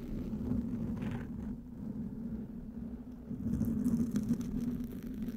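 Fingertips and nails scratch and rub a soft, porous black foam windscreen on a microphone. The result is a dense, low rumbling scrape that fades slightly in the middle and then swells again, with faint bright crackles near the end.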